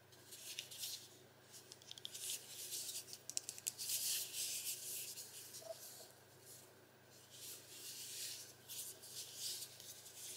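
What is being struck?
Small smart speaker with fabric mesh over a plastic shell.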